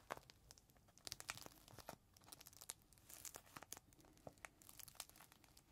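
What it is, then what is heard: Plastic zip bag with microfiber cloth inside. A clear plastic zip bag holding a folded green microfiber cloth is squeezed and rubbed between fingertips. It is held edge-on and then face-on in both hands. The plastic gives off quiet, bright crinkles and crackles in many quick, sharp bursts over a soft rustling bed.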